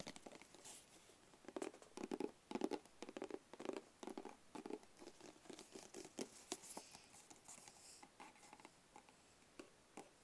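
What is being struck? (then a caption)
Small rigid cardboard gift box. A small, rigid, closed black cardboard gift box, hollow inside, is held in both hands and tapped and scratched with fingertips and short nails. Quiet, irregular bursts of soft hollow taps centered in the low-mid range mix with dry, bright scratching strokes. Each tap dies away almost instantly.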